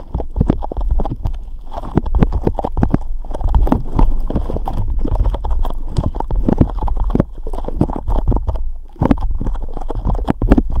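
A hand-sized blob of soft, glossy pink slime is held and squeezed between the fingertips of both hands, pressed, stretched and kneaded. It makes a steady stream of quick, wet squelching pops and crackles that are mostly low and muffled. The sound runs for about eleven seconds with only a brief dip near the end.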